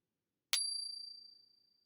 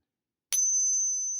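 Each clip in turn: First: One sharp ping on a silver round, then a clear high tone that rings well past a second. Second: A single ping sets up a thin, very high tone from a clad copper-core dollar, not silver.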